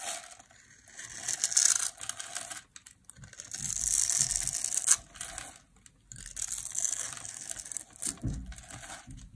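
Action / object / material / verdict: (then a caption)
scrape / bar soap / soap / none. A solid oval bar of dry blue soap, held in a hand with long black nails, is scored into a grid and shaved with a metal blade so small cubes crumble off. Bright, crisp scraping and crackling comes in three bursts separated by short pauses, with a brief low thump near the end.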